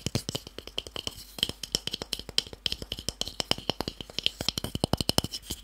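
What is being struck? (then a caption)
Small wooden cube block. A small, solid, pale wooden cube held in the hand is tapped rapidly with fingertips and short nails. About forty quick, dry taps follow one another, each a bright click near 3 kHz over a soft low knock that dies away almost at once.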